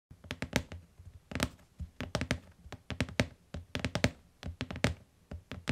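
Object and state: Hardcover book.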